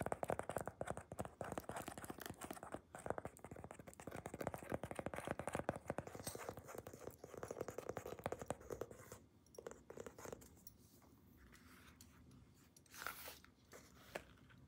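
Long nails rapidly tap and scratch a wide black leather weightlifting belt with white stitching held in the hands, making a dense run of dry, crackly clicks and scrapes for about nine seconds. The sound then thins to quieter, scattered taps, with a brief brighter scratch near the end.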